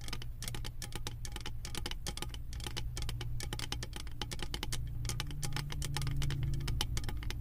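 Long acrylic nails tap and scratch quickly across a round embossed metal lid studded with small metal beads on a full candle jar. Dense, irregular bright clicks and ticks sound over a steady low hum that swells slightly in the second half.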